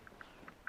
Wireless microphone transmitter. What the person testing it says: if i shake it it rattles